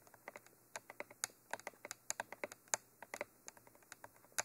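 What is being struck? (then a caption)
Textured cylindrical microphone body tapped with long fingernails. Long nails tap on top of the body of a Mitra hollow black textured cylindrical binaural microphone. The result is a quick, irregular run of sharp, bright clicks, each dying away almost instantly, with very little low end beneath them.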